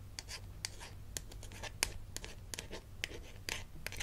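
Long acrylic nails tap and scratch a small flat plastic name badge card on a lanyard, held in one hand: the toy dentist ID badge from a Melissa and Doug Super Smile Dentist Kit. Sharp, bright plastic clicks repeat through the clip, with soft scratching rasps between them, over a steady low hum.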